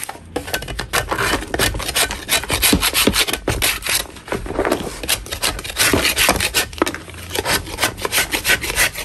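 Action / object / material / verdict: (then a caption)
scrape / chalk block scraped with a metal blade / chalk / none. A metal putty knife scrapes the surface of a flat, solid chalk block held in a gloved hand. It makes a steady run of quick, uneven, gritty scraping strokes, dry and bright with little low end. Each stroke cuts off quickly with almost no ring.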